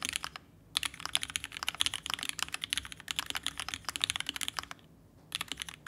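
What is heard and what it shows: Rapid typing with the fingertips of both hands on a red ergonomic TGR Alice-layout mechanical keyboard with vintage black switches, an aluminum case and plate, and pink and white plastic keycaps, resting on a desk mat. Quick bursts of short, bright, dry clacks break off into two brief pauses, with almost no low end and no ring after each press.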